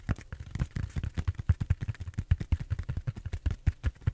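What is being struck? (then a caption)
Bead-foam styrofoam roller. Fingertips and nails scratch and tap the surface of a large purple bead-foam styrofoam roller held horizontally close by. About 26 quick, soft, dull taps come in a steady, uneven patter, each a low thump with a faint dry scratchy click on top and almost no ring.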